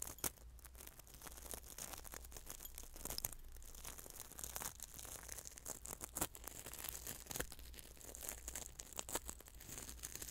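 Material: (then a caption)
Salt. Fingertips pinch and rub coarse salt grains in a small glass bowl held close, producing a quiet, crackly granular crunching. Dense bright crackles and sharp ticks run throughout over a steady low hum, with brief louder crunches scattered across the clip.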